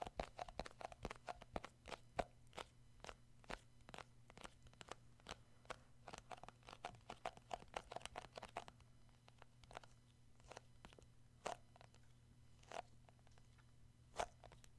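Short fingertip nails tap and grip the sides and black lid of a hand-sized, round plastic shea butter tub, a labeled cosmetic jar that seems full. Crisp, dry plastic clicks with a hollow midrange knock come in a quick, steady run for about nine seconds, then thin out to scattered single taps. A faint low hum sits under the quiet sound throughout.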